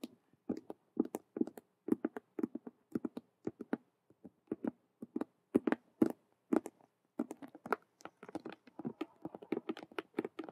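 Long acrylic nails quickly tap and scratch the front face of a large, hollow, Rubik's cube-style handbag made of glossy patent faux leather with stitched colored square patches. About 44 short, dry taps come in fast, irregular bursts, each a soft low-mid knock with a brief bright click and almost no ring.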